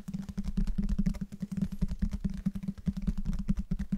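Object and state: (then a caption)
Hardcover book. Fingertips and nails tap and scratch the cover and spine of a closed, light-colored, medium-sized, solid hardcover book held in both hands near the microphones. The result is a rapid, uneven run of short, dull taps with quick decay, heavy in low frequencies and with a steady low hum underneath.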